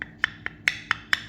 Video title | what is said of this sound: Nothing like clean carpet | Hollow sound that means the tile is is loose and not all the way down